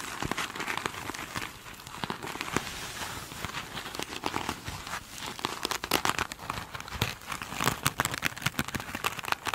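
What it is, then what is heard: Glitter-coated foam sponge scratched with nails. Long pointed nails on both hands scratch the glitter-beaded top of a single soft, solid foam sponge. The result is a continuous, dense crackle of quick, bright ticks and crinkly scratches. The scratching grows louder and sharper in the second half.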